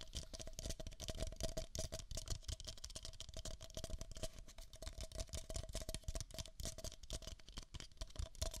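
Two identical empty, hollow beige paper cups are held near the microphone's ears and tapped quickly with fingertips and nails. The result is a dense, continuous patter of soft low thumps mixed with bright, crisp clicks over a faint steady hollow tone.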